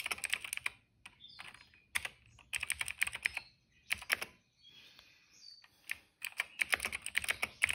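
Fingertips of both hands type on a retro-style cream plastic mechanical keyboard with black and purple keycaps. Bright, crisp clacks arrive in quick runs of keystrokes, broken by brief pauses and quieter, softer stretches of tapping. Each keystroke is short and dry, with almost no low end.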